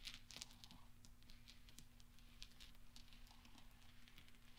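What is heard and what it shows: Small solid steel pachinko balls resting on black velvet are pushed and clinked together by fingertips and nails, rolling and tapping gently. Many quick, bright metallic ticks scatter over a quiet, steady low hum, each dying away almost at once.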